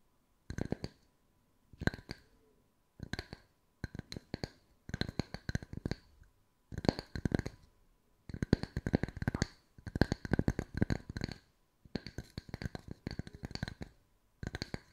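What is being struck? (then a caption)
Small round wooden tree slice coaster. Long white nails tap quickly on the sanded face of two matching small, round, solid wood tree-slice coasters with bark rims. The result is a steady run of short, dry wooden clicks with a soft low knock under each, grouped into rapid bursts separated by brief pauses. Each tap dies away almost instantly.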